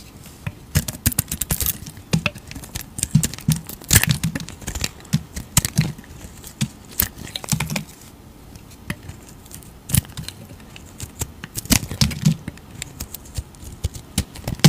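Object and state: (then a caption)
Bar soap being shaved with a blade. A utility knife blade scrapes and shaves layers off an oval, solid green bar of soap held in the hand. The result is a steady run of short, dry crackling scrapes and crisp snaps with bright edges and a soft low body, fading in between strokes.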